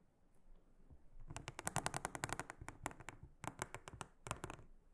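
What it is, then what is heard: Silicone honeycomb trivet mat. A small brush with a silicone head brushes and scratches across a large, round, blue silicone trivet mat with a honeycomb pattern, lying flat and solid on a table. After a quiet start, a rapid series of short, crisp, bright scratching taps comes in clusters with brief pauses, each stroke dying away almost instantly. The sound stays soft overall, with a dry, clicky texture.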